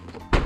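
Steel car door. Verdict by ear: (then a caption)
Solid. A steel car door on a Kia Sportage The Bold is shut during an open-and-shut check. After a quiet low rumble, a deep, solid thunk lands, heavy in the low end, and dies away quickly. The door sounds solid rather than hollow, with its internal steel frame intact, and it is judged normal.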